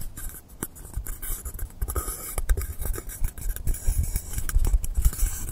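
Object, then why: Polystyrene foam block. Fingertips and nails scratch and rub along the top edge and side of a long, solid blue polystyrene foam block. The result is a steady run of quick, dry scrapes and squeaky crackles with bright, hissy edges over a low, muffled rumble. The strokes rise and fall in loudness and grow somewhat stronger toward the end.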